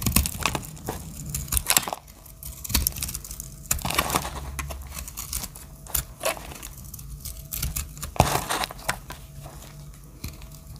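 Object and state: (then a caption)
Dry soap bar being cut. A solid dry soap bar with black stripes and pastel chips is held in the hand while its edges are cut and shaved with a small metal blade. Dry, crisp scraping and crumbly crunches come in irregular bursts, with sharp bright clicks as flakes break away. A low background rumble sits underneath throughout.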